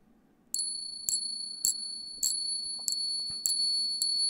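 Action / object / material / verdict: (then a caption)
strike / two silver coins struck together / silver / real. Two real silver coins are pinged together seven times at a steady pace, each strike producing a bright, high ring with clear tones that sustains between hits. The long, clear ring marks them as genuine silver, a stark difference from counterfeit coins.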